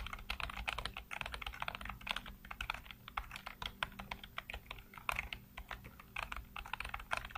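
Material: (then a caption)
Plastic. Fingertips rapidly tap and type on a full-size black plastic computer keyboard with hollow keycaps. The result is a dense, steady stream of crisp, bright clicks with short decays, plus a faint low hum beneath.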